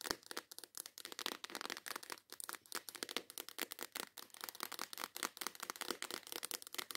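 A small clear plastic case full of nail files is held in the hands while long acrylic nails tap and scratch quickly and intensely on its lid. The result is a dense, steady stream of sharp, bright plastic clicks and crinkly scratches with no low end.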